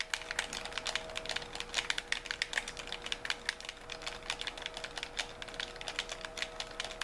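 Thumbs tap and press the buttons of a white, hollow, handheld plastic gamepad in rapid succession, producing a fast, irregular stream of short, bright plastic clicks. The clicks stop almost instantly with little low end, over a faint steady tone.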